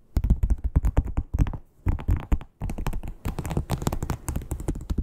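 Long pointed nails tap and knock rapidly on the surface of a flat red croc-embossed leather wallet. The taps are dull, low thuds that die away almost instantly. They come in quick clustered bursts with two brief pauses.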